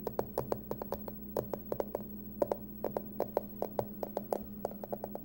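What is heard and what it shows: Long nails tap and scratch the face and edges of a small, closed, hollow hard-shell aluminum card wallet with a Halloween pumpkin print. About thirty quick, dry clicks come in an uneven rhythm, each with a short hollow ring and a bright tick, over a steady low hum.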